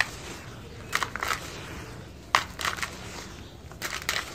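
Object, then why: Clumps of dry soil with pebbles. Bare fingers and palms scoop and squeeze loose, dry red-brown dirt with small pebbles and clumps, heaped in a large white bowl. The handfuls crush and crumble back onto the pile in short, bright, gritty crunching bursts, with quiet stretches between them.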